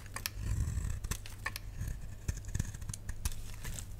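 A solid, dry pink rectangular bar of soap is held in the hand and cut and shaved with a utility knife blade, peeling off curls. Crisp, dry scraping and clicking cuts come in quick irregular bursts, with brief bright snaps, over a steady low hum.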